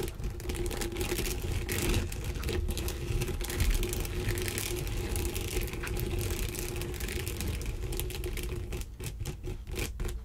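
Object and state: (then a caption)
Textured sponge glove scratched. A flat, mitten-shaped textured sponge and fabric body-wash contouring glove lies on a bamboo wooden surface while long dark green almond nails and fingertips scratch and rub across it. The result is a steady, dense scratching and rubbing texture with a low, rumbling body and fast rasping strokes, growing choppier toward the end.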